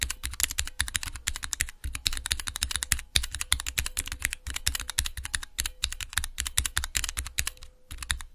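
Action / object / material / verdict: tap / plastic mechanical keyboard switch tester / plastic / none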